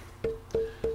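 A wooden mandolin tone bar, shaved down with a block plane, is tapped three times, and each tap rings out with a clear pitch near 450 Hz that fades within a fraction of a second. Its resonant pitch has dropped noticeably after the wood was removed.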